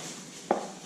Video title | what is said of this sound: Never Install Cheap Corvette Mods - This is why! | It's hollow. It's like a totally, listen to that. That is so weird. And dude, oh look, it is literally plastic.